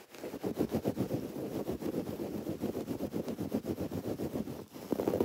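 Long dark-painted nails scratch a soft, stuffed teal throw pillow of textured woven fabric with raised white cord lettering. It makes rapid, uneven strokes of dry, muffled rustling, mostly in the low-mid range with little brightness. It ends with a slightly louder burst of scratching.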